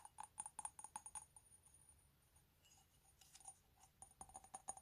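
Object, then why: Ceramic mug. A hand-held, hollow, empty medium white ceramic coffee mug with "COFFEE" lettering is tapped with fingernails on its body and base. Quick, bright clicking taps each carry a short ring near 800 Hz. They come in two rapid clusters separated by a quiet pause of about two seconds.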